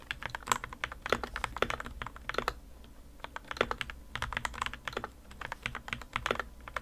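Two hands type steadily with their fingertips on the plastic keycaps of a modded white plastic RK61 60% mechanical keyboard resting on a desk mat. The result is a continuous patter of short, crisp keystrokes with a bright, clacky midrange tone. The keystrokes briefly thin out before resuming in quick bursts.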